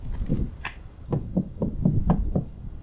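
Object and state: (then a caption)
Van body panel damped by sound-deadening mat. Knocks on a sheet-metal van body panel covered with a bitumen vibration-damping mat give dull, low thuds that die away almost at once. Eight separate knocks are heard, with no bright ring. The damping mat clearly deadens the panel.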